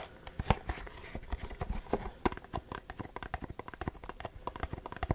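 A printed Versace perfume cardboard box with a textured print is tapped and scratched with short fingernails. Quick, dry taps land in a rapid, uneven series over a soft scratchy rustle. Each tap is a dull, low thud with almost no ring.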